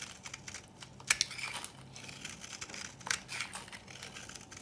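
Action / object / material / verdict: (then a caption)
scrape / bar of soap scraped with a metal knife / soap / none. A metal knife blade scrapes and shaves the surface of a palm-sized solid bar of old, dry pink soap held in one hand, crumbling it into flakes and powder. The sound is a quiet, bright, dry crinkling scrape with two sharper, louder strokes standing out over the steady rasp.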